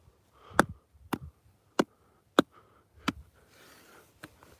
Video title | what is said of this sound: Sunday Countryside walk | That rock sounds hollow. Hear that?